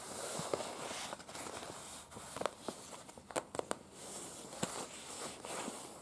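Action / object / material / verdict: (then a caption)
tap / thin folded paper leaflet / paper / none. Very long pointed acrylic nails tap and scratch the surface of a thin folded paper museum floor-plan brochure lying flat on a bed. A steady, bright, papery scratching hiss runs throughout, broken by short, sharp clicking taps that die away instantly.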